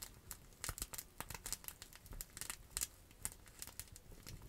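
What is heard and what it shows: A clear plastic bubble wrap pouch held in the hands is scratched and crinkled with long acrylic nails. The result is a quiet, steady stream of bright, crisp crinkles and sharp scratchy ticks, each dying away almost instantly.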